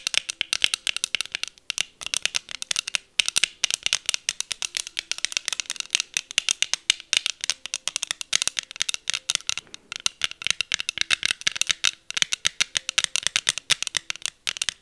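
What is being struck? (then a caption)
Plastic sunglasses tapped with long nails. Long acrylic nails rapidly tap and scratch the hollow frames and lenses of pink plastic heart-shaped sunglasses worn on the face. The result is a dense, steady stream of sharp, dry clicks with almost no ring, bright and high with virtually no low end, continuing evenly throughout.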